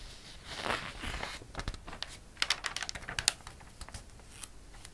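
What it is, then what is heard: Glossy paper catalog page. Fingertips rub across the printed page of a glossy paper catalog, making a soft, bright swishing hiss, and then the page is turned with a flurry of crisp, high clicks and crinkles.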